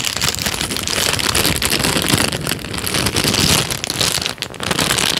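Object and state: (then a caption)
Crinkled paper sheet. A thin tan paper sheet is bent, crinkled and then flattened with the fingers, giving a dense, steady crackle of bright, papery rustles. A brief softer dip comes near the end before the crinkling picks up again.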